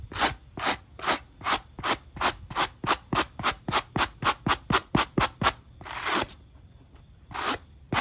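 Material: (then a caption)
Rubber. A wooden-handled wire brush is scrubbed across the textured nub pattern of a black rubber sneaker outsole held in hand, making twenty-one short, bright, scratchy strokes. The strokes come in a quick, steady rhythm that speeds up slightly, then break into a longer drawn-out scrape, a pause, and a few final strokes.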